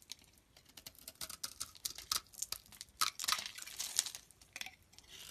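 A blade scrapes flakes off the top of a solid green olive-oil soap bar held in the palm. The result is a quiet, irregular run of short, crisp scraping and crackling strokes, bright and dry with almost no low end.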